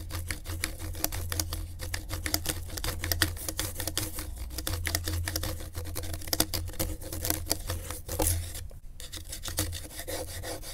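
A gloved hand drags a pen tip across a flat, torn-edged piece of brown corrugated cardboard lying on griptape, tracing and scratching it. Dense, rapid scratchy clicks and bright ticks run steadily over a constant low hum for the whole clip. There is a brief quieter dip near the end.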